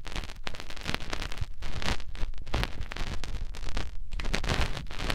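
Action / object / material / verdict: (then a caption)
scrape / silicone ear of a binaural microphone rubbed by fingertips / silicone / none. A fingertip rubs inside the ear canal of the other silicone ear of a binaural microphone. It makes a continuous, close, muffled scratching and rustling dominated by deep low rumble and thumps, with bursts of bright crackle throughout.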